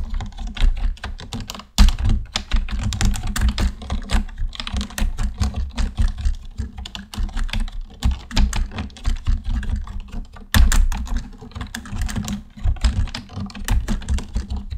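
A full-size black plastic computer keyboard on a desk is typed on with the fingertips of both hands. A steady stream of rapid, short clacks has a heavy low thump beneath each key, with two louder, sharper strikes near 1.8 and 10.6 seconds. Each press dies away almost instantly.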